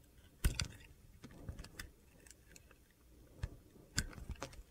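A utility knife blade carves and scrapes flakes off a solid light blue soap bar with a dark blue base, held in the hand. Several short, crisp scraping clicks and taps stand out over a quiet, low rumbling background, with faint crunchy textures in between.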